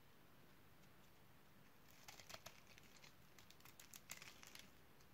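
A utility knife blade cuts into the surface of a solid, light pink oval bar of dry soap that has been scored in a grid. After about two seconds of faint low background hum, a rapid run of crisp, bright crackling snaps and scrapes begins. Each one is short and dry, and they continue to the end of the clip.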